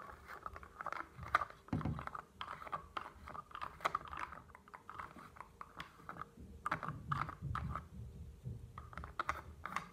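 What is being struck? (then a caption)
Plastic bottle with plastic cap. Fingernails tap and scratch on a tall blue plastic solution bottle and its white plastic nozzle cap, making a rapid, uneven run of dry clicks and scrapes. The taps are short and sharp with almost no ring, alongside a low, soft rustle underneath, all at a quiet level.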